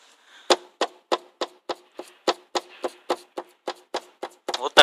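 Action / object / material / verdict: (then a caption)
tap / plastic car tail light housing / plastic / loose. The plastic housing of an unrepaired rear tail light on a Ford Focus 3 is tapped again and again, giving a string of short, sharp plastic knocks with a brief hollow rattle after each. The loose light rattles, unlike the repaired one on the other side.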